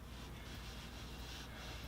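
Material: Nothing is struck.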